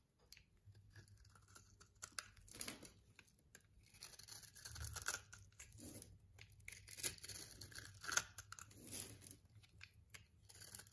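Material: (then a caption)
Soap. A solid pink rectangular bar of soap held in the palm has its surface scraped with a metal blade, shaving off dry powdery crumbs. The result is a run of bright, crisp scraping and crunching strokes, soft and close, with a faint low hum beneath.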